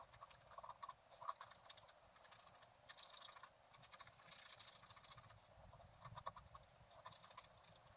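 A wooden stylus scratches short strokes into a flat black-coated scratch art card lying on a table. The sound is quiet, dry, bright scratching and rasping with small ticks, coming in denser, louder bursts of strokes with softer pauses between them.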